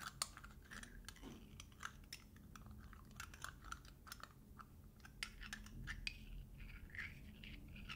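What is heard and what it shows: Fingertips and nails tap and scratch the metal screw lid of a small round glass jar held up close. The sound is a dense run of quiet, sharp clicks and bright scratchy ticks that stop almost instantly, over a low, steady background hum.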